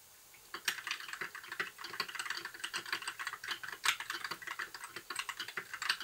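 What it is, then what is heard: Plastic mechanical keyboard. Fingertips type steadily on a compact white mechanical keyboard with plastic keycaps. After a brief quiet start, rapid, irregular keystrokes produce bright, crisp clacks with almost no low end, each dying away almost instantly.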